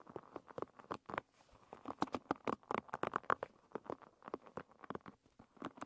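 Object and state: Wooden-pin hairbrush.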